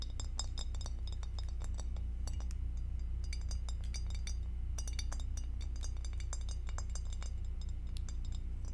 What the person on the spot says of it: Tapping on glass with acrylic nails